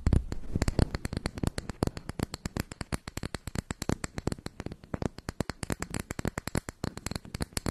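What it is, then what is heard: Makeup compact, scratched and tapped. Long white nails rapidly tap and scratch the brown textured lid of a round, flat, hand-sized makeup compact with a gold-colored rim, held over a microphone. A steady stream of dozens of crisp, dry clicks with almost no ring sits over a soft scratchy hiss, with the energy concentrated in a low thump under each tap.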